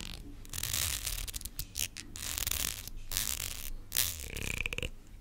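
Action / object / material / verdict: scrape / plastic comb with fine teeth / plastic / none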